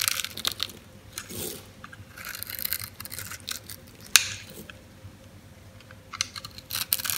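A metal blade cuts into the grid-scored surface of a solid white oval bar of soap held in the palm, breaking it into small flakes and cubes. Bright, crisp scraping and crunching come in bursts, with one sharp snap near the middle of the clip.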